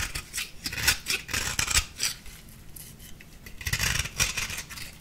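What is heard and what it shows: A small metal blade with a purple handle scrapes a crumbly orange-pink compressed-powder bath bomb ball, making bright, dry, gritty rasps in uneven bursts. A softer, steadier scraping stretch in the middle gives way to louder crunchy strokes near the end.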